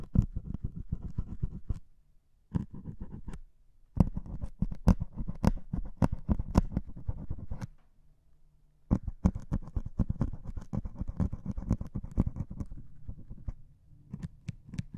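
A single needle pricks and scratches the grey foam top of a white melamine sponge held against the microphones. The result is dense bursts of soft, dull, low-heavy crackling and tapping, broken by short silent pauses.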